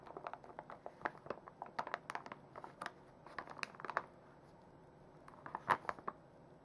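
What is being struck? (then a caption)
Plastic wipes pouch. A full plastic makeup wipes pouch, lying flat and then lifted, is rubbed and scratched with long nails and fingertips. Sharp, quick crinkles and scratchy ticks come in dense bursts. A quiet pause near the four-second mark is followed by a few louder crackles.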